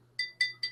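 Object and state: Glass liquor bottle, clear clink.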